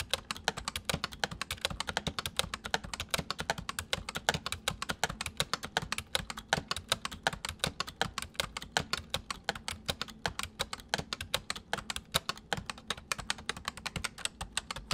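Fingertips type steadily on the letter keys and numpad of a white full-size plastic mechanical computer keyboard. A dense, slightly uneven stream of short, crisp clicks with bright highs and a faint low thump under each keystroke carries on for fifteen seconds, with no ringing between presses.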